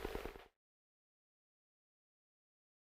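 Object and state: Nothing is struck.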